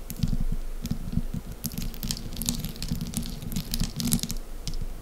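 Long green acrylic nails tap and scratch a small, soft, solid, folded lump of cream-coloured wax paste resting on a table, then pinch and lift it. Rapid, dense, muffled low taps mix with bright, crackly, sticky ticks and scratches. The sound stays close and dull, with almost no ring after each touch.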